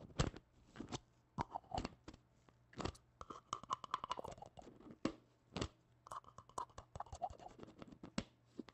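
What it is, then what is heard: Plastic jar. Black-gloved fingertips scratch and tap a small, hollow red plastic tub with a lid. Quick, dry taps and scratchy rasps come in uneven clusters, with a few sharper knocks standing out over a faint, steady low hum. The sound is quiet and close, and each tap dies away almost at once.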